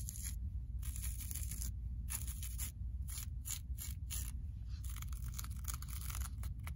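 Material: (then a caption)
Synthetic fibre. Long acrylic nails scratch and rub across a multicolored, low-pile looped carpet tile of woven synthetic loops lying flat on a solid floor. Repeated bursts of bright, dry scratching rise and fall over a steady low hum, with short quiet gaps between strokes.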